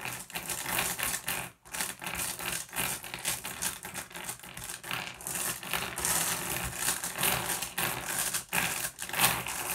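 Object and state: Glass gem pebbles.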